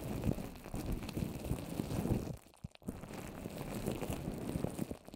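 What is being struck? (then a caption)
Papier-mâché covered microphone. Both hands tap long orange nails across the top and sides of a microphone coated in wet white papier-mâché paper over plastic wrap, shaped into a rounded dome. The result is a dense run of soft, damp, low thuds and sticky taps with little brightness. The taps break off briefly near the middle, then resume.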